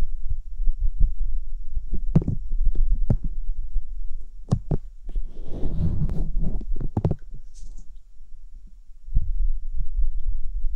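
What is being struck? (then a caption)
Silicone ear replica on a binaural microphone. Fingertips with long painted nails rub and tap over the white silicone ear replicas on a round binaural microphone housing. The result is a close, deep stream of soft thumps and muffled rubbing, with a brief brushy hiss in the middle.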